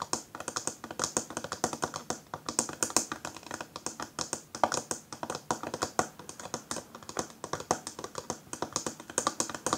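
Long fingernails on both hands rapidly tap a small, hollow, round rose-gold metal powder compact with a patterned lid as it lies on a table. The result is a dense, continuous stream of crisp, bright clicks with very short decay and little low end.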